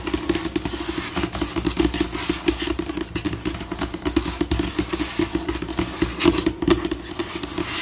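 Long pink nails tap and scratch a glossy white laminated tabletop, a solid table surface, shifting between slow and fast. Dense, quick clicks and scrapes sit over a steady tonal band in the low mids, with bright scratchy bursts and no pause throughout.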